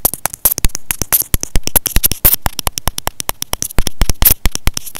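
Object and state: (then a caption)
Plastic earphone inline microphone. A small white plastic inline microphone and remote with a hollow housing, on a thin white earphone cable, is held in both hands and tapped and scratched with short painted fingernails and fingertips. Dozens of quick, dry clicks and taps come in a fast, uneven stream, each dying away almost instantly, with a bright edge and a dull low thump through the close mic. Brief scratchy rustles fill the gaps between the taps.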